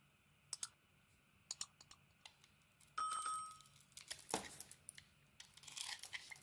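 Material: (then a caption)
Soap. A small metal blade scrapes the colored surface off an oval, palm-sized purple Balea bar soap with a white dot pattern, held in hand, to reveal its white core. Quiet, sharp scratches and clicks come at scattered moments, then a short ringing tone sounds. The scraping turns into denser, brighter, crinkly shaving sounds.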